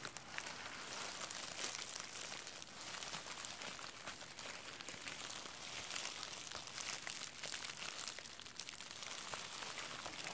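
A clear plastic bubble wrap sheet with hollow air bubbles is held up and crinkled with the fingertips of both hands. The result is a steady, bright crackling and crinkling that runs the whole clip with little low end.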